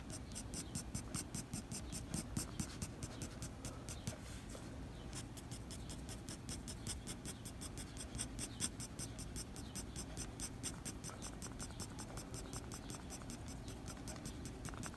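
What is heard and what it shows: The graphite tip of a blue mechanical pencil scratches repeated short strokes across a flat white drawing paper sheet bearing a pencil drawing. The quiet, steady scratching comes as rapid, bright ticks over a low, soft rumble, with a brief lull near the fifth second before the strokes resume.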